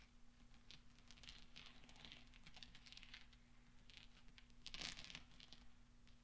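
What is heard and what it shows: Fingertips roll small solid steel pachinko balls on black velvet and clink them together. The result is quiet, dense, bright metallic ticking and soft rolling rustle over a steady low hum, with a louder burst of clinks near the end.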